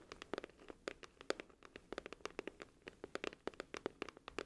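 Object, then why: Glossy cardboard album case. Long nails tap the front of a glossy cardboard music album case, then tap and scratch its back cover while it is held tilted. Around thirty quick, dry taps with bright clicky edges and a hollow midrange knock land in uneven bursts, with faint scratching between them. Each tap dies away almost instantly.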